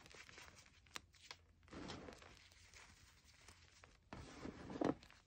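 Bare fingertips pinch, crush and rub a loose, dry pile of crumbled white gym chalk (magnesium carbonate) powder on a wooden table. Quiet, gritty scratching and soft crumbling are broken by a few sharp ticks. Two longer, louder bursts of crunchy rubbing carry bright grainy texture.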